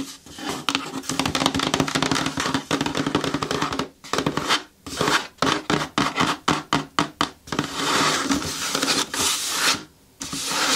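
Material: Cardboard.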